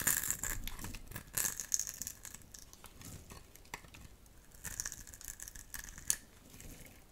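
A metal utility knife blade scrapes a dry, solid rectangular blue soap bar held in the palm, peeling off flakes. Dry, crisp scratchy scrapes and crackles come in bursts, with bright high-frequency hiss and little low end, plus a few sharp clicks.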